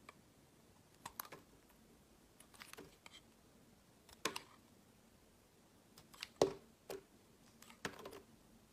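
A small remaining piece of pale green translucent glycerin soap, held in the fingers, is shaved with a utility knife blade, scraping and carving. Short, crisp scrapes and clicks come in scattered bursts separated by quiet pauses. The cuts are bright and dry with almost no ring.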